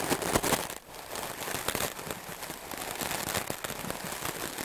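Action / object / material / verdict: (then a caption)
scrape / melamine foam sponge / melamine foam / none. A solid white melamine foam sponge block, held in the hand, is brushed rapidly with a wooden clothes brush with dark bristles. The result is a dense, scratchy, crackling hiss of quick strokes, brightest in the highs, with a louder burst at the start and a brief dip before the brushing continues steadily.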